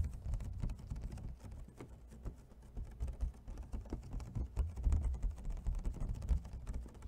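Fingernails tap fast on the lid and sides of an empty, hollow clear plastic clamshell food container held in both hands. The result is a dense, rapid patter of soft, hollow clicks with a low thumpy body and very short decay.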